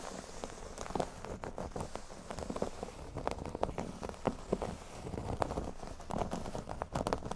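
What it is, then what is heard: Cork board scratched. Short fingernails on both hands quickly scratch the surface of a large, flat, solid cork board shaped like a speech bubble. The result is a dense, soft crackling texture of rapid dry scratches and taps, mostly muted and low, with little high-end brightness.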